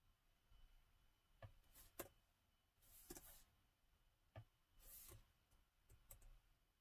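Fingertips type slowly on the black plastic keys of a gold metal-look laptop with a hollow body, with brief touchpad use in between. Soft, short clicks with a low thump come through spaced apart, alongside a couple of longer, brighter brushing swishes. All of it plays quietly over a faint steady background hiss.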